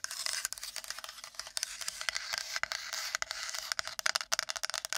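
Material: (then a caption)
Wood. A wooden plate is tapped and scratched quickly with long nails, making a dense run of dry, bright scraping and clicking strokes. The sound is all upper-range with no low body, and each short tap dies away at once.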